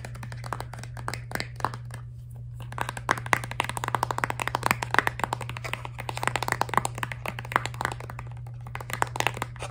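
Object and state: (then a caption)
Plastic toothpaste tube. A filled, laminated plastic toothpaste tube is turned over and tapped and scratched with long nails, making rapid, crisp clicks and light scratchy rubbing. The brief, dry taps come in fast uneven bursts over a steady low hum.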